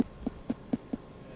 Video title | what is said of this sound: Bread Video | You should hear a hollow, resonant noise. That means a light, not a heavy, wet interior.